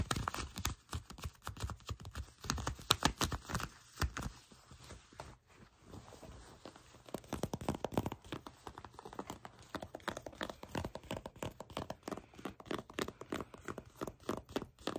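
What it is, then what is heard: Faux leather trousers. Long pink-painted nails tap and scratch the shiny surface of black faux leather trousers, soft and flexible, as they are held and folded in the hands. Dense, crisp clicking taps and rustling scrapes come in quick bursts, dipping briefly to a quieter scratching stretch near the middle before the rapid tapping resumes.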